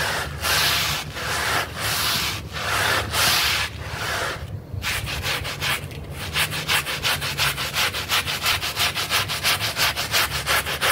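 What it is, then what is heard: Synthetic pile rug being scrubbed. A pink stiff-bristle brush scrubs a wet, dirty blue synthetic pile rug, making bright, hissing, scratchy strokes over a low rumbling hum. The first half has slow, long back-and-forth strokes, then it switches to faster, shorter, rhythmic scrubbing.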